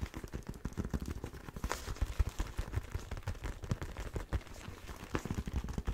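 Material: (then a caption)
Leather. Fingertips and nails tap and scratch the hard knuckle armour and leather of one empty black leather motorcycle glove. A dense, irregular run of quick, dull, low thuds mixes with soft scratchy rustling. Each tap dies away almost instantly.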